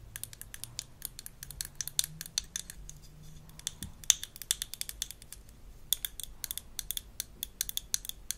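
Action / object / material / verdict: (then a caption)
tap / plastic toy dental mirror / plastic / none. A small light-blue plastic toy dental mirror with a textured handle, from a Melissa & Doug Super Smile Dentist Kit, is held in the hand and tapped and scratched with long acrylic nails. Rapid, sharp, bright clicks and scrapes sound in uneven bursts, each dying away instantly with no ring, over a faint low hum.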